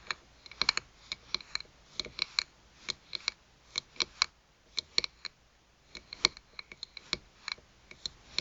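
Long pointed nails tap and scratch the glass face of a small round pocket mirror set in a white rim, lying on a mat. About 29 crisp, bright clicks come in irregular bursts. Each tick is sharp and high, with almost no low end and dies away instantly with no ring.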